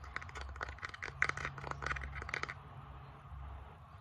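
Fingertips and long nails tap and scratch the flat surface of a small, solid bamboo wooden board held up close. A quick run of short, dry clicking taps and scrapes fills the first two and a half seconds, bright and sharp with almost no ring. It then gives way to a softer, low rumbling murmur until the end.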